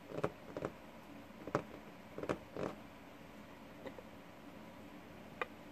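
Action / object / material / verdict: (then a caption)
tap / wooden desktop / wood / none. Fingertips of both hands tap and drum on a flat, solid wooden desktop with a worn surface, giving seven short, dry knocks. The knocks have a dull mid-pitched tone around 420 Hz and are spaced irregularly over a quiet, steady hiss. Several come as quick double taps, and a lone, softer tap follows near the end.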